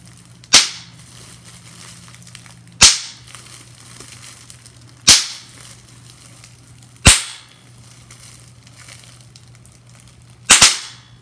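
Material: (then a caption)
Plastic. Bubbles on a large, clear plastic bubble wrap sheet are popped by pinching with long-nailed fingers. Six sharp, bright pops with quick crackly tails stand out over a quiet background with a steady low hum, and the last two come in quick succession.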